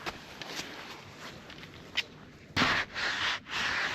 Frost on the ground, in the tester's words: guarda che brina, senti come scrocchia